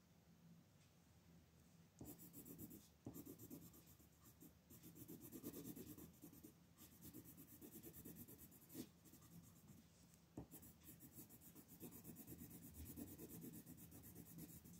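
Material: Paper.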